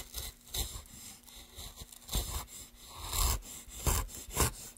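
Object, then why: Wooden plank. Gloved hands scrape and carve a solid light wooden plank with a metal gouge set in a wooden handle. Rasping, gritty strokes rise into five louder bursts, each with a low thud underneath and a bright, hissing scrape on top, then die away quickly between cuts.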